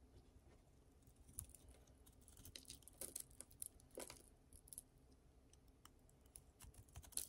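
A utility knife blade shaves and scrapes a solid, hand-sized oval bar of dry green soap held in one hand, leaving curls and flakes. Quiet, dry scraping is broken by crisp, bright clicks and ticks, with a few louder snaps near the middle and end.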